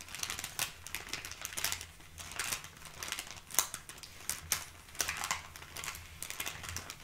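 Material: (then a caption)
Paper. A small brown kraft paper bag sealed with a sticker and holding items is held flat while long painted nails scratch and tap across it. The result is a steady stream of bright, dry crinkling and scratching, broken by sharper taps that briefly stand out, over a faint low hum.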